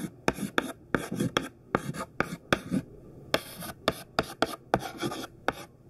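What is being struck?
White chalk stick on a flat chalkboard.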